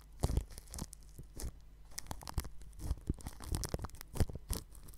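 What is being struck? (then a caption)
Plastic cling film wrapped over a microphone. A paintbrush with a red handle and bristle tip brushes and rubs over the metal grille of a round white microphone tightly wrapped in clear plastic cling film. Irregular crinkling, scratchy strokes and soft, muffled low thumps follow one another in close bursts, with a bright, papery hiss riding over a heavy low-end rumble.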